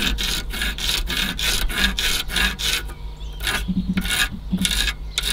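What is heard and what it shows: Fingernails scratch and pick at an old, crumbling white foam or rubber seal strip along the top edge of a car radiator, rubbing it until it crumbles apart. Quick, bright, raspy scratching strokes repeat in a steady rhythm over a low constant hum, with a brief quieter gap midway before the rubbing resumes.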